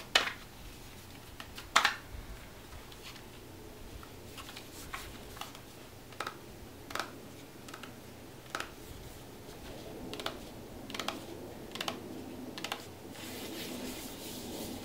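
Fingertips and short nails tap and rub the surface of a small, closed Bicycle playing card box made of printed paperboard, held in both hands and full of cards. Irregular, sharp, bright clicks like typing pop out over a quiet papery hiss. A soft rubbing swell grows toward the end.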